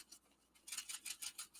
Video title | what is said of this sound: Hunkydory - Springtime Wishes Deco Large - Rerun | You can hear the little beads shaking when you shake it.